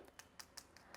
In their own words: आप देख सकते हैं कि वो भी बहुत कुरकुरा है। आप सुन सकते हैं कि वड़ा ऊपर से कुरकुरा और अंदर से बहुत नरम है।